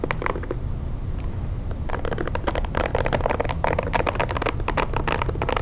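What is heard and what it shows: Fingernails tap and scratch the back and bristle side of a pink plastic hair brush. A few sparse clicks over a steady low rumble give way after about two seconds to dense, bright, crackling taps and scrapes that continue to the end.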